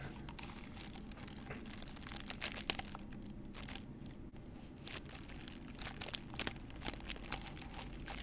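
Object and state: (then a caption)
Paper cup, scratched and tapped. Long nails scratch and tap the sides of a small, hollow, empty white paper cup held in both hands in front of the microphone. The result is a quiet, bright, crinkly scratching broken by many sharp, dry taps that stop almost instantly, over a faint steady low hum.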